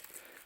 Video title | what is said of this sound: HOW DO I KNOW, IF I'VE HAD A CHIMNEY FIRE. | you can hear how crispy it is